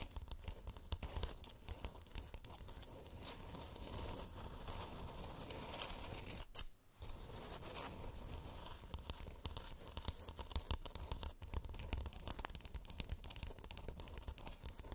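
Long nails scratch both sides of a glowing, hollow plastic moon lamp with a textured surface, producing a dense, continuous raspy crackle with a low hollow rumble and bright scratchy edges. The scratching pauses briefly just before the seven-second mark, then resumes as quick, sharper strokes through to the end.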